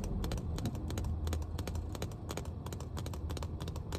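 Long nails tap and scratch the body and ridged bottom of a full, clear plastic water bottle, making a rapid run of crisp clicks and scrapes. A steady low rumble sits underneath the whole time.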